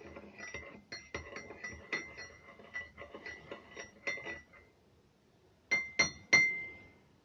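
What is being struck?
Ceramic mug with metal teaspoon.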